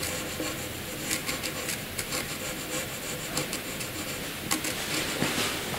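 A graphite pencil held in the fingers scratches across a sheet of white paper, cross-hatching a dense patch. A steady, bright, papery rasp runs throughout, with short louder strokes standing out now and then.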